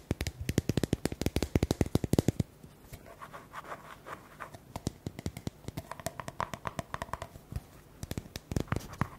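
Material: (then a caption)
Plastic. Fingernails tap and scratch the sides of a small round white plastic cream jar with a label, held in the hands. A fast run of dozens of sharp, dry, hollow taps opens the clip, then eases into quieter, scratchy rubbing with a faint low tone before the quick tapping returns near the end. Each tap is short and dies away at once.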